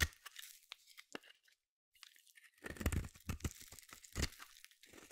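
A metal blade shaves and scrapes a solid white soap bar held in the hand, giving dry, crunchy, tearing scrapes with bright edges and a low thud underneath. The cuts come in short bursts, pause briefly, then return in a denser run of shaving strokes.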